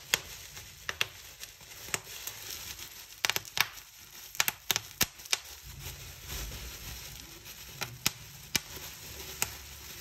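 Fingertips and nails pinch a fold of a clear plastic bubble wrap sheet and pop its bubbles. Around twenty sharp, bright, very short snaps burst out, with soft crinkling and rustling of the plastic in between.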